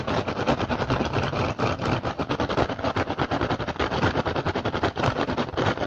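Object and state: Woven rattan basket.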